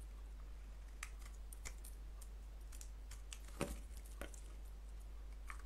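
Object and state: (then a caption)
Soap bar being carved. A solid white soap bar with a blue coating, held in the palm, is carved with a box-cutter blade. Soft, crisp scraping and crunchy cuts sound at irregular intervals, one slightly louder near the middle, over a steady low hum.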